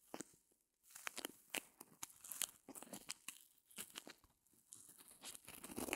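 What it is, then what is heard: Reticulated foam block. A small white rectangular block of solid open-cell reticulated foam, held in both hands over faux fur, is scratched and pressed by long glossy nails. The result is a quiet run of crisp, bright crunching and crinkling scratches in irregular bursts, with brief pauses between them.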